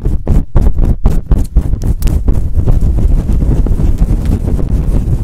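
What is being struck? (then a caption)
Faux fur microphone windscreen. Long nails scratch and rub fast across a fluffy faux fur windscreen on a microphone. The result is a loud, deep, muffled rumble: separate brushing bursts for the first two seconds, then a dense, continuous scraping roar with almost no bright content.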